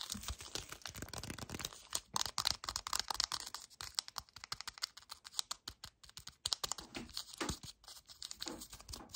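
Fingernails and fingertips grip, scratch and tap the surface and edges of a full yellow cardboard chocolate bar box held up close. The result is a rapid, uneven run of dry, bright clicks and scratchy rasps, with short crinkly bursts, that stop instantly with no ring.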